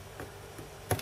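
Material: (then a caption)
Metal, solder. Light ticks come from flicking the metal pins of a desoldered SRAM chip on a Nintendo Famicom board, ending in a sharper, louder click. One pin does not flick freely because it is stuck, still held by solder, and needs more desoldering.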